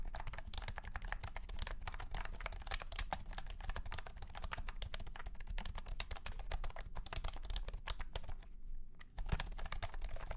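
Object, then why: Plastic keyboard with round plastic keycaps. A white and pink cat-shaped keyboard with round plastic keycaps in a hollow plastic case is typed on rapidly with the fingertips of both hands. A dense, steady stream of short, clacky taps carries a low, hollow thump under the clicks. The typing pauses briefly near the end, then resumes with one slightly louder tap.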